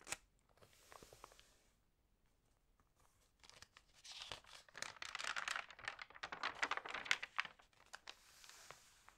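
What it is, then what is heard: Paper magazine pages crinkling. Long painted nails and fingertips rub and turn the lightly water-sprayed pages of an open printed magazine lying flat at its puzzle and horoscope pages. Soft, bright rustles and a few sharp ticks open the clip, then quiet, then dense, louder crinkling and crackling bursts build up before easing back to a light rustle.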